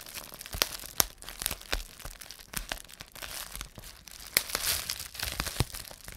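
A rolled strip of clear plastic bubble wrap is held in both hands while the fingers twist and squeeze it, popping the air-filled bubbles. Sharp, bright pops snap out irregularly over a steady crinkling rustle of the plastic throughout the clip.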